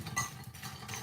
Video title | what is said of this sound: HOW TO MAKE BEST EASY SIMPLE HOMEMADE JAMAICAN CHRISTMAS CAKE WITH BREADCRUMBS, JAMAICAN FRUIT CAKE | very very very crispy not soft